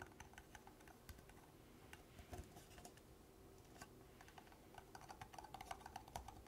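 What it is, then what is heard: Plastic party cup tapped with fingernails. Long black nails tap and scratch the bottom of an empty, hollow red plastic party cup held close up. The result is a quiet run of rapid, dry clicks with a short hollow plastic tone near 760 Hz, over a soft scratchy texture. The taps grow brighter and more frequent toward the end.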